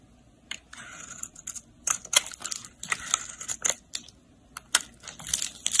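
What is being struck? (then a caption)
Bar of soap. A segmented utility blade scrapes across a solid pink soap bar held in the hand, carving ridges and flakes from its surface. The result is a series of short, dry, bright scraping and crunching bursts with almost no low end, separated by quiet gaps.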